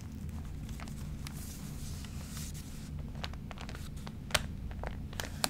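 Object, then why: Glossy paper magazine. Hands rub and press their fingertips on the crinkled pages of a thick, water-wrinkled glossy paper magazine lying open. A steady low rumble sits under soft rustling and dry crinkles. Sharp, bright crackles pop out near the end.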